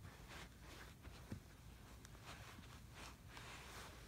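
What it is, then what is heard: Kinetic sand in a plastic tray. Fingertips and palms press, pat and brush across a flat layer of brown kinetic sand spread in a blue plastic tray. Quiet, soft brushing swishes rise and fall over a low, muffled rumble, with one brief, dull tap standing out partway through.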